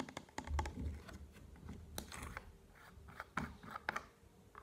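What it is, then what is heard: Plastic bottle tapped and rubbed. Fingertips and nails tap and rub the sides of a hollow, tall blue and white plastic bottle of contact lens solution held in the hands. A quick, uneven series of short, dry plastic clicks and ticks comes through with soft scratching rubs in between, over a low, muffled rumble. Each tap dies away almost instantly.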